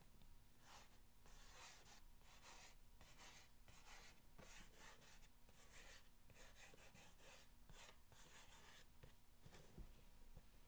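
A single fingernail scratches repeated lines along the top of a long, hollow corrugated cardboard box. Each stroke makes a short, dry, bright scraping rasp, with brief pauses between them over a faint, steady low hum.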